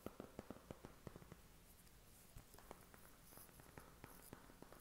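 A flat, thin, hollow white cardboard eyeshadow palette box is held in the hand and tapped and scratched with short fingernails. A quick run of dry, soft, hollow taps opens the clip, then sparser taps follow over a faint scratchy rustle. Each tap dies away almost instantly.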